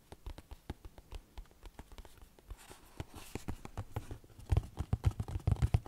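A small, hollow, rectangular yellow printed cardboard tea box (Lord Nelson), likely full of tea bags, is tapped and scratched with fingertips and nails. Quick dry taps and scratches with a low, hollow thud fall in an uneven rhythm. A soft brushing texture builds in the middle before the taps grow louder and heavier toward the end.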